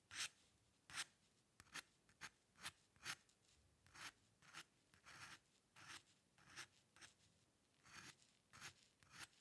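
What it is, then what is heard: Steel dip pen nib scratching on paper. A steel-nib dip pen loaded with ink scratches strokes across a flat sheet of white drawing paper on a dark table, drawing in the upper hair area. Fourteen short, dry, bright scratching strokes come at an uneven pace, each a hissy burst with almost no low end and no ring.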